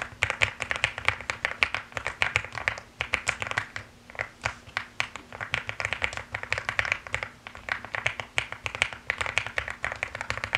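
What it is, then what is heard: Mechanical keyboard with plastic keycaps. Fast typing with fingertips and long nails on a mechanical keyboard with plastic keycaps. It makes a dense, continuous stream of short, bright clicks and clacks that die away almost instantly, with a faint low hum underneath.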